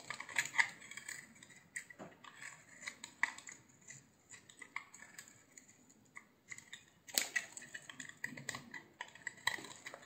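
A hand-sized solid green bar of soap, held in the palm, is shaved into curls with a utility knife. The result is a quiet run of crisp, bright scraping strokes and short clicks, with a few louder slicing bursts around the middle and near the end.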